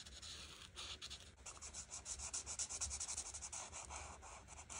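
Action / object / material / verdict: scrape / felt-tip marker on paper / paper / none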